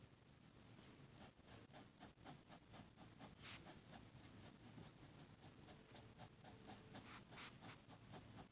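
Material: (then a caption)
Paper. A metal fountain pen nib scratches a flat, thin sheet of grid paper lying on a table, making repeated hatching strokes over a dark inked area; the red plastic contact lens case nearby is not touched. The quiet, dry, scratchy strokes come in an uneven rhythm of about two per second, each a brief bright rasp over a soft low rumble.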